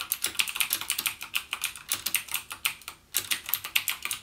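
Fingertips type continuously on a backlit plastic mechanical gaming keyboard with plastic keycaps and Cherry MX Blue switches, producing a rapid run of about 29 sharp, bright, clicky keystrokes. Each click is short and dry with almost no low end. There is a brief pause near the three-second mark before the typing resumes.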